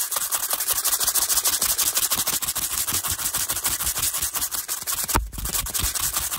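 The bristles of a teal hairbrush, held in the hand, rapidly brush and scratch across a stack of small, hollow, translucent pastel plastic cases that appear empty. The result is a fast, continuous run of bright, dry scratching strokes. A short, heavier knock with a low thump comes near the end.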